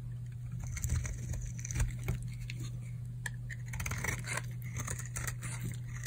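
A metal blade scrapes and shaves flakes off a solid, hard, dried pink bar of soap held in the hand. Dry, crackly scraping strokes and bright flaky crunches come in quick bursts over a steady low hum.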